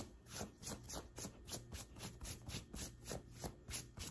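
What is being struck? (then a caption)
Cotton t-shirt fabric. Long white acrylic nails on both hands scratch and rub a light blue printed cotton t-shirt over the chest. The result is a steady run of soft, bright rasping strokes, about three per second, over a low background hum.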